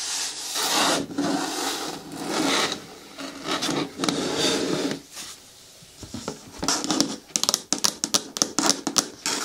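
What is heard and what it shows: Long nails scratch and rub the side wall and lid of a hollow, hard, green plastic bin with a lid. For about six seconds, long bright rasping strokes swell and fade with a faint hollow tone underneath. Then a brief pause gives way to a quick run of short, sharp scratches.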